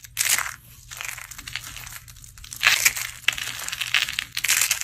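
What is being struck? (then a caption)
Dry soap curls and flakes. A pile of dry, brittle blue-teal soap curls and flakes is squeezed and crushed between both palms and fingers with long painted nails. Dense, bright crunching and crackling comes in several surging bursts, with almost no low end.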